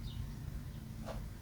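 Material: Nothing is struck.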